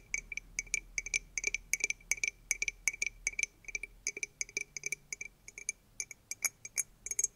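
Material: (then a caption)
Gourd. A medium-sized dried hollow gourd with an opening on its side is held in both hands and tapped and scratched with manicured fingernails and fingertips. The result is a quick run of many sharp, bright clicks with a steady ringing pitch near 2.3 kHz and almost no low end, each dying away almost instantly.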